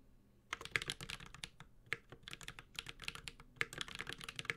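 A Space65 Cybervoyager 65% mechanical keyboard, with a white-gold aluminum case, carbon fiber plate, plastic keycaps and tactile Holy Panda switches, is typed on steadily with the fingertips of both hands. After a brief quiet start, a rapid run of short, crisp, bright keystrokes follows, each with a clacky tone centered around 2 kHz. The keystrokes die away almost instantly, with little low-end thump.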